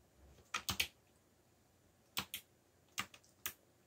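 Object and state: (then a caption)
Plastic mechanical keyboard. Fingertips tap the keys of a backlit black plastic mechanical keyboard while typing, giving eight short, bright clicks. They come as a quick burst of three, then a pair, then three more spaced taps, each dying away almost instantly over a quiet background.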